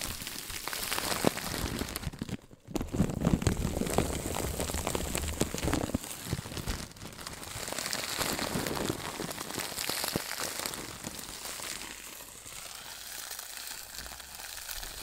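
A clear, crinkly plastic packaging bag is held in both hands and squeezed and crumpled with fingers and long pink nails. Dense crinkling and crackling runs throughout, with a brief quiet gap near the start and softer rustling toward the end.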